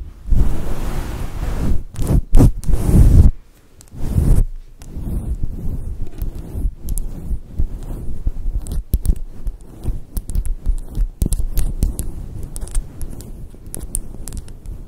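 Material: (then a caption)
Synthetic fur. Long patterned acrylic nails quickly scratch a fluffy grey faux fur microphone windscreen with both hands. The result is a dense, muffled, low rumbling rustle, loud in uneven bursts with brief gaps during the first few seconds. It then settles into steadier continuous scratching, broken by sharp bright clicks.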